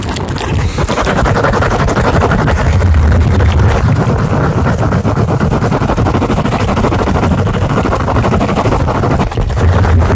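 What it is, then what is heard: Cork coaster. A round, flat, thin solid cork coaster about the size of a plate is held up in both hands close to a microphone and tapped and scratched rapidly with the fingertips and nails. The result is a dense, continuous patter of soft, low, thudding taps with a rumbling bass and very little brightness, holding at a steady loudness throughout.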